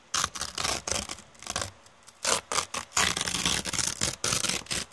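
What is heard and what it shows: Long red painted nails scratch and crumple a thin brown kraft paper bag with teal print. Bright, dry crinkling and scraping come in irregular bursts separated by brief quiet gaps, with almost no low end.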